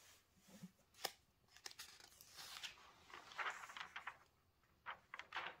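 Bare fingertips turn the pages of an open celebrity magazine made of thin glossy paper, lying flat on a cloth-covered table, then smooth them down. Quiet, crisp, bright rustles and crinkly swishes come in short bursts, with a sharp snap near the first second and softer sliding strokes between.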